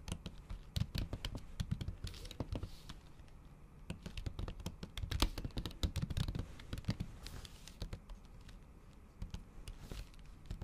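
Long acrylic nail tips tap quickly and repeatedly on a MacBook keyboard covered by a thin pink patterned plastic or silicone cover over solid keys. The result is a dense, uneven stream of short, dry clicks with bright edges and a soft low thump under each tap, decaying almost instantly.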